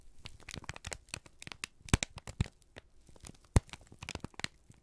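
A single thin, crumpled sheet of brown kraft paper is held in both hands and squeezed and crinkled with the fingertips and thumbs. The result is a dense run of dry, bright crinkling and crackling, with a few sharper, louder snaps standing out near the middle and toward the end.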